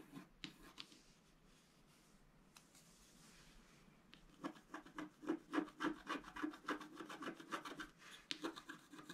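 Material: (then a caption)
Coated paper. A wooden stylus scratches across a scratch-art paper board held flat by one hand. A few sparse, soft scrapes give way after about four seconds to a quick, fairly steady run of short, dry, bright scraping strokes with a papery rasp.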